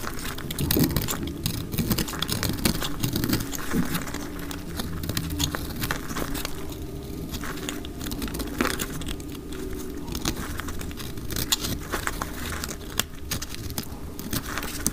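A round, solid, dry orange soap bar held in the hand is cut into slices with a utility knife blade, sped up to double speed. A dense, continuous run of dry crackling, crumbling cuts with short, sharp snaps sits over a heavy low-end rustle. Each bit of sound dies away almost at once.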